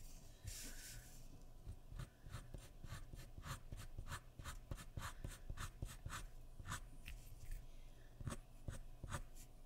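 A graphite pencil makes sketching strokes across a sheet of white drawing paper resting on a wooden surface. A longer scratchy stroke at the start gives way to a steady run of short, quick, bright rasping strokes at a quiet level over a low background hum.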